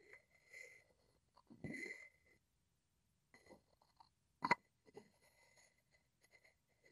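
A wooden pestle is rubbed and tapped against the outer wall of a hollow wooden mortar held sideways. Quiet, dry scraping and brushing strokes come and go, broken by two sharp, close taps midway that ring briefly with a hollow woody tone near 950 Hz.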